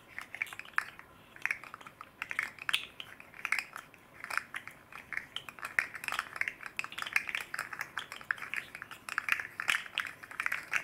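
A hand-sized red and green hard plastic fidget slug with hollow jointed rings is held in both hands and flexed and twisted with the fingertips, while a second slug sits idle behind it. The segments make a rapid, dense clatter of short, dry clicks centered around 1.8 kHz with bright upper edges and no low end. Each click dies away almost instantly.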